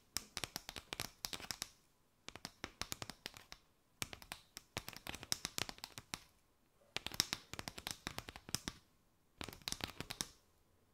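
Long nails scratch and tap a mat of hollow chevron paper straws, first arched and then draped over the mic. Dense, dry, crisp ticks and scratchy rustles come in five bright bursts separated by short quiet pauses, with almost no low end and no ringing.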